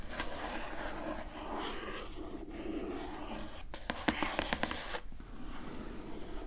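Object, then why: Printed cardboard box. A medium-sized, closed, hollow glossy printed cardboard gift box from Glowria's "Into the Woods" line is rapidly tapped with long nails along its top edge. A soft, steady scratchy rustle runs throughout, broken midway by a quick run of sharp, bright clicky taps with a hollow body before the texture settles back.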